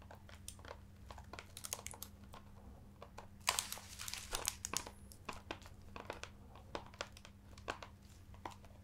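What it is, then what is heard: Embossed leather-bound hardcover book. Fingers scratch and tap the embossed cover and spine edge of an ornate, leather-bound hardcover book held against the chest. Sharp, bright ticks and crinkly scratches come in quick succession, thickening into a dense scratching burst midway before thinning back to scattered taps. A steady low hum runs underneath.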